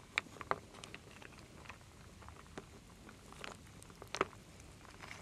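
A wooden spoon stirs small solid wooden beads, acorns and leaves in a full wooden bowl, with long nails nearby. Scattered dry, bright clicks and soft rattling taps rise over a quiet, faint shuffling bed. The sharper knocks come near the start, around four seconds, and again at the end.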